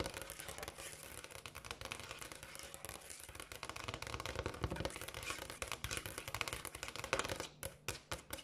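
Long acrylic nails tap fast on a large, solid, polished granite countertop, making a dense stream of crisp, bright clicks with very little ring. The tapping slows near the end into a few separate, sharper taps.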